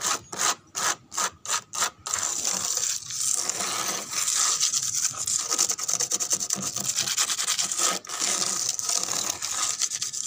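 Long pink fingernails scratch rapidly back and forth across a large, flat, brown-painted wooden board whose cracked, peeling paint exposes pale wood. About six separate quick scrapes open the clip, then give way to continuous, fast, dense scratching. The sound is a dry, bright, hissy rasp with almost no low end.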